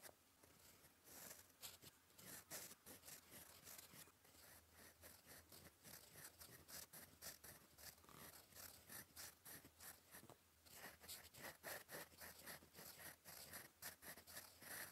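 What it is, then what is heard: Pen nib scratching paper. A gold metal fountain pen nib, held in fingers, writes cursive on a flat sheet of cream lined paper resting on a desk. It makes quiet, bright, scratchy strokes in irregular bursts over a faint low hum.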